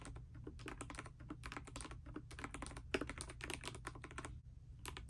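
A pastel D84 mechanical keyboard in dust silver with plastic keycaps, resting on a bedspread, is typed on continuously with fingertips and long nails. Rapid, crisp, bright clicks and clacks come one after another with short, dry decays over a steady low hum.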